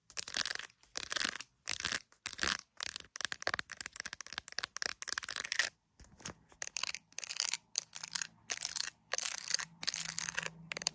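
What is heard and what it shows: An iPhone in a clear plastic case decorated with resin gummy bears is tapped and scratched around the camera area and on the gummy charms with long nails. The result is a dense run of bright, dry clicks and scratchy bursts in quick clusters, with brief silences between them and a faint low hum in the second half.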